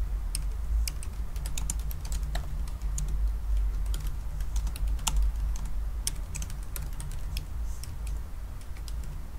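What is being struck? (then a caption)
Aluminum laptop keyboard with plastic keys. Fingertips tap individual black plastic keys on a silver aluminum laptop keyboard, typing slowly and unevenly. Short, bright clicks rise over a steady low hum.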